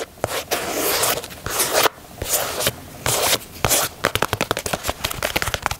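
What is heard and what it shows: Fingernails scratch along the stitched leather panels and swoosh of an empty black and white leather Nike Dunk sneaker held in hand, making long, bright, rasping scrapes. The sound then shifts to a quick run of sharp, dry taps on the leather.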